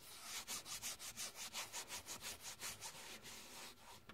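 Fingertips and long painted nails scratch, rub and tap across the face of a flat, hollow car sun visor with a fabric covering over a rigid plastic shell, and around its vanity mirror cover. The strokes come as a quick, fairly steady run of bright, hissy rasps with almost no low end. They trail off into softer scratching at the end.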